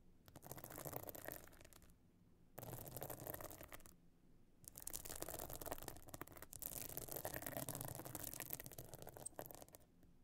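Long nails scratch the stone-chip encrusted top of a closed pebble-encrusted metal-frame clutch bag lying flat. Heard are bursts of rapid, dry, gritty scratching with a broad bright rasp, separated by short quiet pauses.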